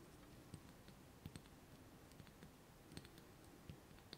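Fingernails tap and scratch the walls of a small, hollow, clear glass jar with a metal lid, full of orbeez water beads and held in the hands. Nine quiet, irregular clicks with bright ticking edges rise over a low, soft scratching hiss, each dying away almost instantly.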